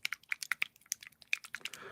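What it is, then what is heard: Small paint tin with thin, fluid paint. A tin of Humbrol 24 yellow enamel model paint is shaken, and the thin, fluid paint can be heard moving inside as a quick series of sharp, bright clicks and sloshing ticks. It is being compared with a tin of Humbrol 19 bought at the same time, which is so thick it sounds solid when shaken. The 24's consistency is judged perfect for painting.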